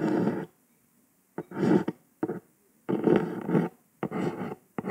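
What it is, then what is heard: Cardboard box lid. Long pointed acrylic nails tap and trace over a hollow, flat kraft cardboard box lid printed with red text. The sound comes in irregular bursts of dry, papery scratching with sharp tap onsets, separated by short silences. The tone is dull and hollow, sitting in the low-mids with little high end.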